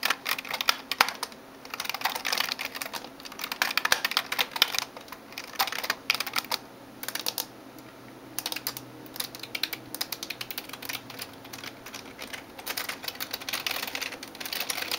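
Fingertips and nails type on the keys of a backlit plastic gaming keyboard, producing a fast stream of bright, clicky taps with a very short decay. Dense bursts of typing alternate with brief quieter pauses throughout the 15 seconds.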